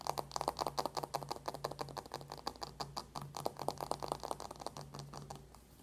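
Long nails rapidly tap and scratch a closed dark cardboard eyeshadow palette lying on a white table, partly covered by the hands. The result is a dense run of short, dry, clicky taps centered in the midrange, over a faint steady low hum, thinning out and fading near the end.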